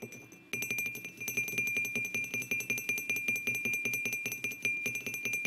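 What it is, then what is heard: Ceramic mug. Fingertips and short nails of both hands tap the sides of a white glazed ceramic mug with a printed design, resting on a wooden table, before the hands grip it. After a brief quiet start, about two dozen quick, unevenly spaced taps follow, each giving a bright, glassy ring with a clear tone near 2.4 kHz that fades quickly.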